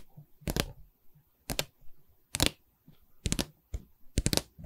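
Long red nails on both hands tap along the top wooden edge of a canvas board's light wooden stretcher frame. Sharp, dry clicks come in short bursts with quiet gaps between them, each click dying away almost instantly. The taps carry both a low knock and a bright, crisp edge.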